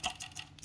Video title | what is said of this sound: ZAMDON Toroidal Solar Inverter Repair | may tunog siya sa loob yan. Meron siyang parang spring.